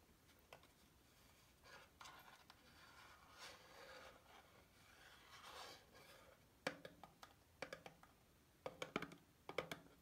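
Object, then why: Small cardboard soap box. Long painted fingernails scratch and tap a small closed white Dove soap bar box of thin cardboard, with the bar inside, held over a sink. Soft papery scratching and rubbing swells in and out for the first six seconds. Then a run of crisp, hollow taps with a low-mid papery body and bright clicks follows, each dying away almost instantly.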